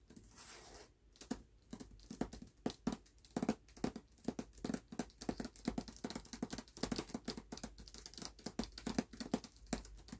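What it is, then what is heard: Hardcover book with dust jacket, tapped. Fingertips and nails tap fast on the cover of a closed, solid hardcover book with a paper dust jacket resting on a black cloth. After a brief soft rustle, a rapid, uneven stream of short, dry taps follows, each with a low hollow thump and a crisp papery click that dies away almost instantly.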